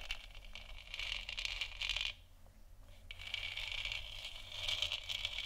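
Long nails tap and scratch the top of a large, hollow, textured plastic moon lamp sphere. The result is a dense, bright crackle of quick clicks and scrapes, with a quieter pause in the middle before the scratching picks up again.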